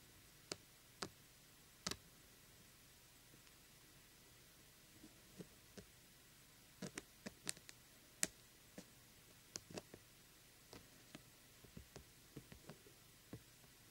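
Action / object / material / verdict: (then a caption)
tap / small hollow plastic pumpkin lamp with glitter coating / plastic / none. A fingertip and nail tap and scratch the glitter-coated surface of a small, hollow, glittery plastic jack-o'-lantern lamp. The result is a sparse, irregular series of quiet, sharp, bright clicks and ticks that die away almost instantly, separated by near-silence.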